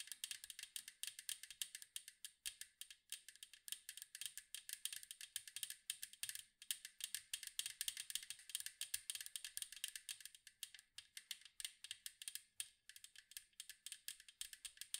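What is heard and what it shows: Long nails tap rapidly on the side wall of a large, round, hollow metal cookie tin with a striped side. The result is a fast, continuous stream of quiet, bright, dry clicks that die away almost instantly, with no low end.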